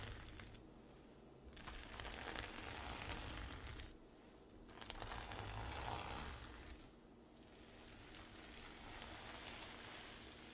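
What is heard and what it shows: Long nails scratch and brush across a flat sequin fabric pouch, and palms rub over its flipped silver sequins. A dense, crinkly, broadband scratching rises and falls in three long swells, with quieter pauses in between.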